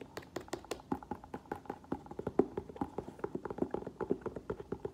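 An olive green leather ankle boot, hollow, with a thick black rubber sole, is held sideways in the hands and tapped with nails and fingertips on the upper and sole. Quick, dry, evenly paced taps with a low-mid hollow knock come in a steady rapid stream, each dying away almost at once.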